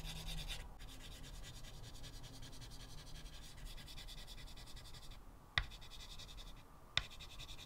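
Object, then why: Chalk stick on a wood-framed chalkboard. A white chalk stub held in the fingertips scratches and rubs dense short strokes onto a solid, flat blackboard in a wooden frame. It makes a steady, bright, gritty scratching with a low rumble beneath. Two sharp ticks stand out near the end.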